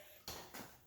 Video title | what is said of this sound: How To Refill Empty Small Used Propane Bottles from a Larger Propane Tank AT HOME🤔 | now you could hear some of the propane in here